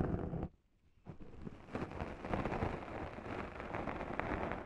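Two small sponge scourers with abrasive pads, one in each hand and held by long-nailed fingers, scratch and rub the top and sides of a black foam microphone windscreen. A dense, muffled, low-heavy scratching and rustling plays, breaks off into near silence for about half a second, then resumes as continuous, slightly louder rubbing to the end.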